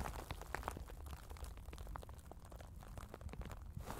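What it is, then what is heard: Tissue paper being crumpled. A soft white sheet of tissue paper, held in both hands in front of the chest, is crumpled and crinkled by the fingertips. Quiet, dense crackling fills the clip with many small, quick crinkle snaps over a steady low rustle.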